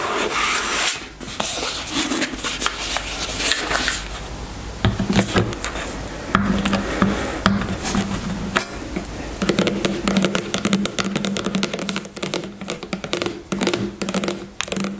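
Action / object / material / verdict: scrape / squeezable plastic tube of hair gel / plastic / none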